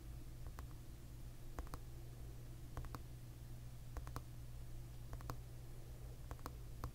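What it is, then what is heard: Plastic hairbrush back. Fingertips with short nails tap the glossy, tortoiseshell-pattern plastic back of a paddle hairbrush held in one hand, bristles underneath. The taps are quiet, short, hollow clicks that come in small clusters over a steady low hum.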